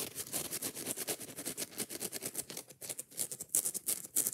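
Long nails scratch quickly over a yellow foam kitchen sponge held in the hand, raking both its rough green abrasive scouring pad and the soft foam. The strokes come as rapid, uneven bursts of bright, hissy rasping with a faint softer rustle underneath, each one dying away almost instantly.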